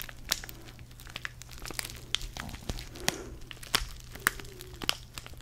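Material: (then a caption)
Foil paper. A small, flat DavidsTea sachet of foil-laminated paper filled with tea is held in the fingers near the mic and crinkled and squeezed. It gives sharp, bright crackles and crisp crinkling bursts over a soft rustle and a faint, steady low hum. Each crackle cuts off almost instantly.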